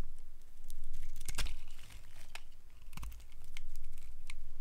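A solid, dry, cream-colored rectangular bar of soap is held in the hand and shaved along its edge with a utility knife blade. Dry scraping and crisp crackling come in short bursts over a low, steady rumble.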